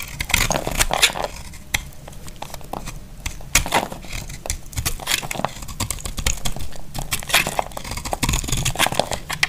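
A solid, hand-sized, dry pink bar soap is held in the hand and carved with a utility knife blade, and the shavings crumble onto a cloth surface. Rapid, crisp scraping and crunchy crackles come in dense bursts with a bright edge. Each cut ends quickly with little ring.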